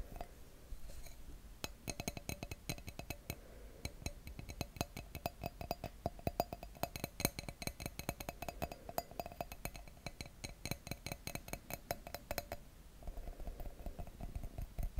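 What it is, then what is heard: Empty wine glass. Fingertips and nails tap the bowl of an empty, thin clear wine glass with a white printed logo, held close to the microphone. Many quick, dry taps and clinks come in dense bursts, each dying away almost at once. The sound has a low, thumpy body and a faint glassy ring above it.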